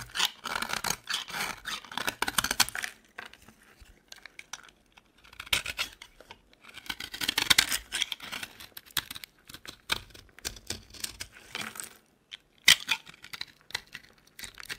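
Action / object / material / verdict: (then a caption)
scrape / bar of soap cut with a metal blade / soap / none. A metal utility knife blade cuts and scrapes crumbly flakes off a solid, dry yellow soap bar held in the palm. Bursts of dry, bright scratching and crackling come in bunches, separated by short quiet gaps. A sharp, crisp snap sounds near the end.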